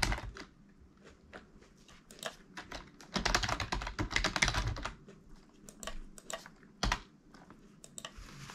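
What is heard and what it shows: Fingertips type on the keys of a full-size black plastic computer keyboard lying flat on a desk. Irregular, bright plastic clicks and taps come with a faint low thump, swelling into a faster, louder flurry in the middle before easing back to scattered keystrokes.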